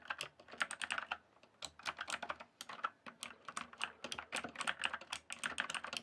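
Fast fingertip typing on a full-size backlit mechanical keyboard with plastic keycaps gives a rapid stream of sharp, bright clicks and clacks. The keystrokes come in dense bursts with brief pauses, each one short and dry with almost no ring.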